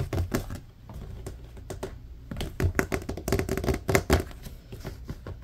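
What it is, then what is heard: Plastic laundry basket. Fingertips tap quickly on the slotted grid side of a large, hollow, empty blue plastic laundry basket held up near the camera, in a rapid typing-like pattern. Each tap gives a soft, low, hollow knock with a faint tonal ring near 395 Hz that dies away almost at once, with little high-end click. The taps come in uneven bursts, a few standing out louder.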